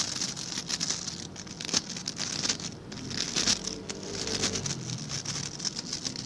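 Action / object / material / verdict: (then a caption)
scrape / plastic bristle scrub brush / plastic / none. A hand-sized blue scrub brush with stiff white-and-blue plastic bristles is held in one hand while the fingertips and nails of the other scratch and flick across the bristles. The result is a dense, bright, crackling patter of quick scratchy clicks, close to rain or crinkling, with little low end and no talking.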